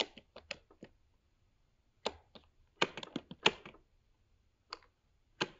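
Fingertips of both hands type rapidly on a MacBook Pro 13-inch keyboard, with black plastic low-profile keycaps set in the grey aluminium body of the hollow laptop. Quick, bright, dry key taps come in irregular bursts separated by short pauses, each click dying away almost instantly.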